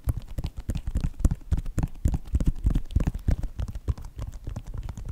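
Fingertips and nails tap and scratch along the sides of a white Nike sneaker with a synthetic leather upper. The result is a rapid, irregular patter of short, dull, low-heavy taps, with faint scratchy brushing between them.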